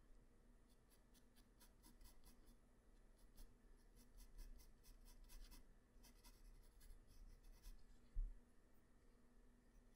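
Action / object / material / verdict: scrape / graphite pencil on a paper sheet / paper / none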